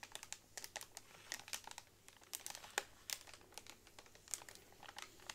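A pack of hollow bamboo straws in clear plastic wrap is tapped and rubbed with long nails. Quick, bright crinkling clicks and rustles sound in irregular bursts, some sharper than others, over a quiet background.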